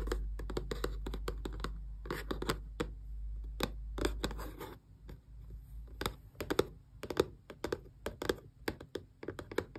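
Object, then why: Small closed cardboard box. Several long press-on nails rapidly tap the glossy front face of a small, closed, hollow cardboard Xbox controller box. Dozens of quick, dry, hollow clicks with little ring and a mid-low body come in irregular bursts. A steady low hum sits under the first half and then drops away.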